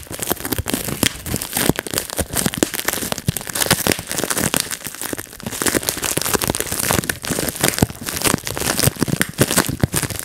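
Fingertips squeeze and pop the air bubbles of a clear plastic bubble wrap sheet resting on a lap. Sharp, dense pops and crinkling crackles come in quick, uneven bursts throughout, each snap short and bright with almost no ring.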